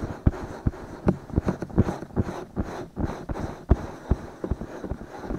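Fingertips and short nails scratch the soft silicone ears of a binaural microphone with both hands. The result is a muffled, bass-heavy rubbing and scraping, broken by about fourteen dull, close thumps at an uneven pace.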